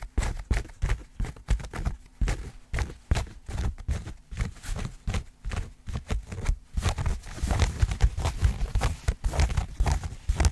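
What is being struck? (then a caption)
Denim jeans. Long nails and fingertips scratch and rub light-wash denim jeans, with their seams and a pocket, held close to a microphone. The result is a fast run of short, dull, low-heavy scratching and rubbing bursts with a faint bright fabric rasp, growing denser and more continuous in the second half.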